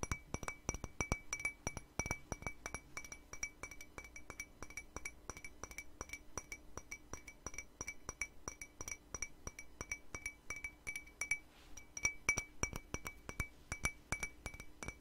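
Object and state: Empty ceramic mug.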